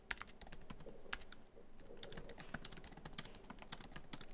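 Fingertips of both hands type quickly across a MacBook Pro keyboard, tapping many of its black plastic keys set in the hollow silver aluminum laptop body. The result is a rapid, steady stream of short, bright clicks with soft low thuds beneath, with a brief lull near the middle.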